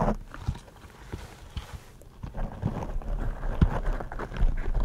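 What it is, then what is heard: Foam microphone windscreen being tapped and scratched. Fingertips in smooth purple rubber gloves tap and scratch two black foam microphone windscreens. The result is a run of dull, muffled thumps and soft rustling scrapes, deep and boomy with no bright edge, coming at an uneven pace and growing louder toward the end.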